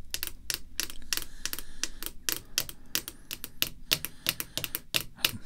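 Long red fingernails tap the surface of a clear rigid plastic card holder lying flat on black cloth, with the back of a green checklist card showing inside. A quick, uneven run of crisp, bright clicks follows, each dying almost instantly, over a faint low background rumble.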